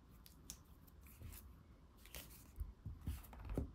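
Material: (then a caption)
Cardboard. Fingernails tap and scratch the back cover of a thick laminated cardboard board book, then the book is turned over and its glossy front cover is tapped with the fingertips. The clip is quiet, with bright, airy scratching strokes early on, then soft, dull, low taps that cluster toward the end and die away almost at once.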